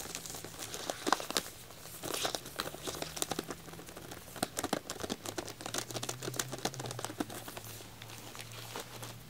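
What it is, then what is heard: Plastic-wrapped pack of wax tealights. Fingertips and short nails tap and scratch the shrink-wrapped plastic over a pack of white wax tealights with a black label. Rapid, bright crinkles and crisp taps come in uneven bursts over a faint low hum.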